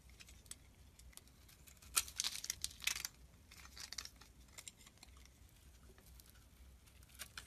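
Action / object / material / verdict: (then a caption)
scrape / glycerin soap bar / soap / none. A flat metal blade scrapes and shaves curls from the edges of a palm-sized, translucent brown solid glycerin soap bar held in one hand, with the shavings piling up beside it. The scraping makes a bright, dry crinkling and crackling, densest and loudest between about two and three seconds, then continuing as softer, scattered scrapes.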